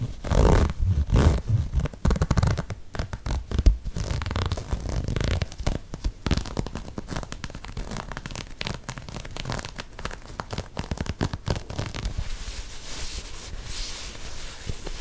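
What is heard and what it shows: An empty lime green and grey knit textile sneaker, held close to the mic, is scratched with long nails and squeezed. Dense, rapid scratchy rasps come with heavy low-frequency rumbling and thumps from the handling. The sound settles into a softer, steady scratching toward the end.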